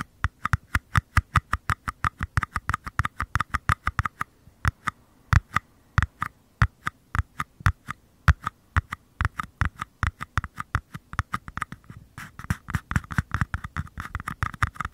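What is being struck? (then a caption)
Small paper cup. Fingertips tap and scratch the flat bottoms of two identical small, empty, hollow white paper cups, each held sideways in one hand close to the microphone. A steady stream of quick, dry taps lands with a soft low thump and a hollow, papery midrange ring that dies almost instantly. The tapping briefly thins out around four seconds in, then grows denser and scratchier toward the end.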